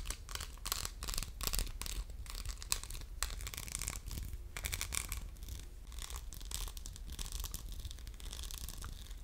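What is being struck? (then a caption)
Faceted glass soap dispenser with metal pump. Fingernails scratch across a hollow, orange, faceted diamond-pattern glass soap dispenser with a metal pump. The result is a run of quick, bright, crinkly scratching strokes that come in dense bursts over a steady low hum.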